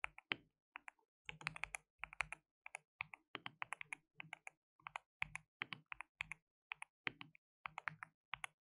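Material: Plastic.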